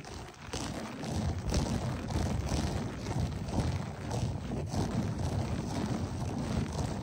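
Both hands rapidly scratch a beige, textured berber loop-pile carpet on the floor with fingertips and short nails, the fingers sometimes coming close to the lens. The result is a dense, continuous, muffled scratching rustle concentrated in the low end, with soft swells in loudness throughout.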